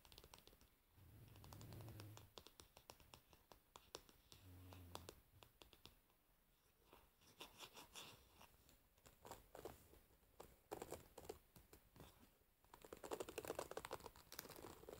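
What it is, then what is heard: Wooden hairbrush with metal pins. A wooden paddle hairbrush with metal pins is held in the hands while long nails tap on its varnished wooden back and side, then scratch across the metal pins. Dry clicky taps and rapid scratchy rasps come in irregular bursts, with brief low handling thumps near the start and a louder, brighter scratching stretch toward the end.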